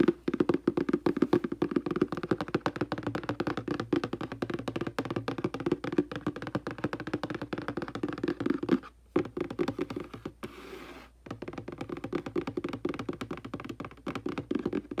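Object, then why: Cardboard box. Fingertips and long dark nails tap and drum quickly on the front face of a hollow printed cardboard aquarium box resting on carpet. The result is a dense stream of short, dull, hollow taps centered low around 340 Hz, each dying away almost instantly. Near the nine-second mark the drumming pauses briefly, then a soft, quiet rustle fills a short gap before the rapid tapping resumes.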